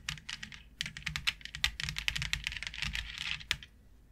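Long nails tap and scratch across a flat white plastic plaid grid board with a fine grid pattern. Quick, dry, bright clicks come in a rapid, uneven run, with short scratchy bursts between them. Each tap dies away almost instantly before the sound falls quiet at the end.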